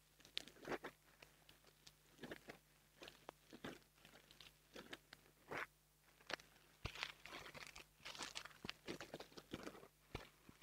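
A small black foam microphone windscreen is pinched between fingertips with long nails, then squeezed and rubbed. It makes dry, bright crunching and crinkling bursts in irregular clusters with short quiet gaps. A faint steady low hum runs underneath throughout.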